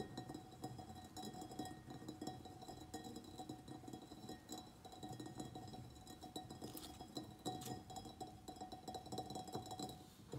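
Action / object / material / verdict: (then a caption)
tap / soil-filled ceramic plant pot / ceramic / none. A medium white ribbed ceramic pot, filled with soil and a begonia plant, is tapped on its sides with the fingernails of both hands. The result is a quiet, continuous run of quick, light clicks, each with a short ringing tone around 740 Hz that fades fast.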